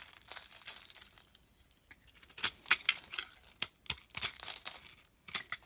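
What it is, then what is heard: Bar of soap being scraped with a knife. A utility knife scrapes and carves shavings off a solid oval white soap bar with a pink outer layer, held in the hand. Dry, crisp, bright scraping and crinkling strokes come in irregular bursts, some sharper and louder than others, with quiet pauses in between and almost no low end.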